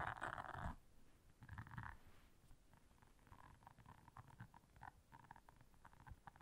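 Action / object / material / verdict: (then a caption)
scrape / silicone bristle scrubber pad / silicone / none. Long nails quickly scratch and tap the bristles of a round blue silicone bristle scrubber. A loud, dense scratchy burst opens the clip and another follows about a second later, then a run of quicker, softer taps and scrapes continues. The sound sits in the low and middle range, with a rumbly, purring texture.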